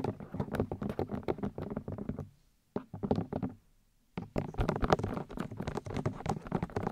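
Long nails and fingertips tap rapidly on the soft white silicone ears of a 3Dio binaural microphone, making dull, padded taps with a heavy low thump and short, dry decays. The tapping runs in dense bursts, breaks off into near silence around the middle, resumes briefly, pauses again, then returns with slightly louder, busier patter to the end.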